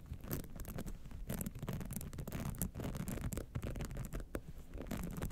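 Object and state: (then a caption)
Rhinestone-studded clutch wallet. Long nails scratch the lower band and sides of a gold rhinestone-studded clutch wallet standing upright. The result is a steady, rapid, mostly low and muffled rasping texture with occasional brighter crackly bursts as the nails pass over the stones.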